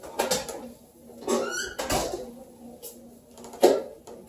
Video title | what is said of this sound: April 15 - Ebony, Ivy & Thyme in the Kitchen #weeklymealplan #ebonyivythyme | see how crispy they are? You can hear them.